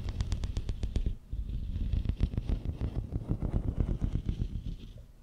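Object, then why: Ribbed plastic corrugated tube. Fingernails scratch and tap along the ridges of a long, hollow, pink and white ribbed plastic tube, about 1 m long, laid across the mic. A quick run of sharp, clicking taps opens the clip, then gives way to a denser stream of rapid ridged scratches. Heard this close, it is heavy and deep, with a low, thumping rumble under every stroke.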